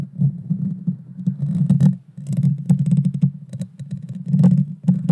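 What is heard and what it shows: Long dark fingernails scratch and tap directly on the small, hollow, round metal mesh grille of a Blue Yeti Nano microphone. The result is a dense, boomy low rumble of thuds and rubbing, sprinkled with faint bright crackles and ticks as the nails drag across the mesh.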